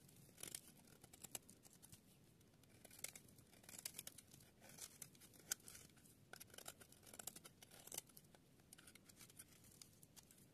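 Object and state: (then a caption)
Dry soap bar being shaved. A palm-sized, dry, solid yellow soap bar is held in the hand while a small metal blade repeatedly shaves and scrapes its surface, dropping shavings onto a pile of soap flakes. Quiet, bright scraping and crisp cutting strokes come in irregular bursts, with short sharp peaks and almost no ring.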